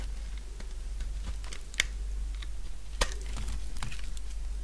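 A utility knife blade shaves a partly carved purple bar of solid dry soap, producing short, dry, crisp scraping crunches and clicks at an uneven pace. Two sharper, bright cuts stand out above a steady low hum.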